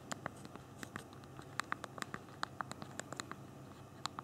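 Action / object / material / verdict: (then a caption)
tap / phone keyboard with small plastic keys / plastic / none. Thumbs tap the small plastic keys of a handheld BlackBerry phone's physical keyboard while typing a message. About 22 short, dry clicks come at an uneven pace. Each click is sharp, with a mid-pitched tick near 1.2 kHz and bright upper edges, over a faint steady background hiss.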